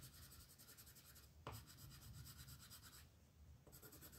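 A light green wooden colored pencil is rubbed in firm strokes across a paper coloring book page on a table to shade a dragon's wing, while the other hand with long nails holds the page. The strokes give a steady, rhythmic scratchy rasp with a bright edge over a low background rumble, with a short sharper scrape midway and brief shifts as the strokes change.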